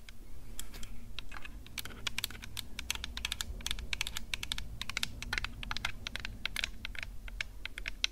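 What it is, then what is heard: Handheld audio recorder tapped with fingernails. Long acrylic nails tap and scratch rapidly over the microphone head of a Tascam DR-05X handheld recorder, a plastic-bodied unit with metal mesh capsule guards held in one hand. Dense, crisp, bright clicks patter continuously over a steady low rumble, each tap dying away almost instantly.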